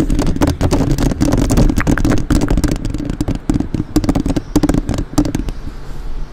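Long nails rapidly tap and scratch the metal mesh grille of a black, uncovered microphone while both hands cup around it. Dense, sharp clicks and scrapes crack up into the high range over a heavy, boomy low rumble with a steady hum near 300 Hz. The hits stop almost instantly, with no ringing after each one.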